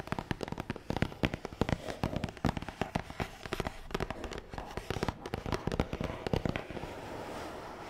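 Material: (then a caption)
Cardboard. A long, hollow, black matte cardboard box is tapped quickly on its top with long nails. The result is a rapid, uneven stream of short, dry, hollow taps with a dull low body. Near the end the taps thin out into a softer, steady scratchy rustle.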